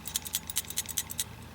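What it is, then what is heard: Loose shaker jet rattling inside a camping stove (normal). An MSR Simmerlite metal liquid-fuel camping stove is shaken, making a rapid series of about eleven short, bright, high-pitched metallic rattling clicks. The rattle comes from the loose shaker jet inside, which clears small obstructions in the jet when shaken, and is the normal, expected sound.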